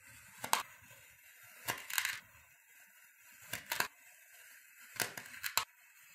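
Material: Kinetic sand.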